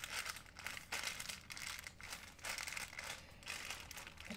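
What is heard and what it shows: An empty, rolled white plastic shopping bag is crinkled between fingertips. Soft, bright crinkling comes in overlapping bursts that swell and fade throughout, with little low end.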